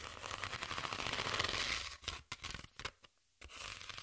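Long nails scratch across the ridges of a flat sheet of corrugated cardboard, held horizontally with the ribbed side exposed. A dense, bright, raspy scratching runs for about two seconds, then breaks into shorter strokes with gaps. After a brief silence, the scratching starts again.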